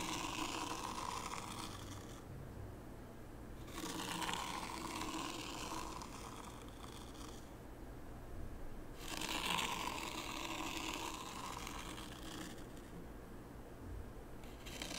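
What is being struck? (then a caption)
Fine sand in a shallow wooden tray, dragged with a small wooden rake. A small wooden rake is dragged through fine white sand in a shallow wooden tray near the tray's edge. It makes soft, gritty scraping strokes with a bright hiss and a band of grainy texture around the mid range. The strokes come in repeated passes separated by brief, quieter pauses.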